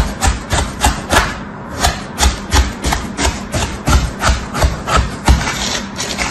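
A red plastic tool, held by hand, slices and scrapes through a packed slab of pattern-stamped kinetic sand in a teal plastic tray. Its cutting strokes come about three times a second, each a gritty, crumbly rasp with a soft low thump and a bright hiss, giving a steady, uneven rhythm.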